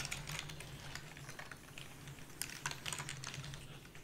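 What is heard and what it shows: Rapid typing with long fingernails and fingertips on the keys of a full-size black plastic membrane keyboard with a purple backlight and a hollow body, set against a fluffy white mat. Quick, bright, clicky keystrokes tick and clack in a dense, overlapping stream over a steady low hum, each tap dying away almost instantly.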